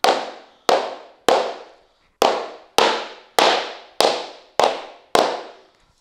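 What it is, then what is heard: Laminate floor plank being knocked into place. A wood-look laminate flooring plank lying on foam underlayment beside a wall, held flat by hand, is knocked nine times with a white-headed rubber mallet to seat the joint. Each knock is a sharp, bright crack with a mid-pitched body that decays quickly, repeated at an uneven pace with a short pause after the third.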